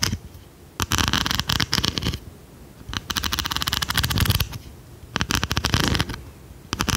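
A large, palm-sized, solid-bodied blue plastic pencil sharpener with a metal blade is tapped and scratched with long red nails. The result is bursts of dense, bright, crackly scratching and rapid tapping, separated by quiet pauses.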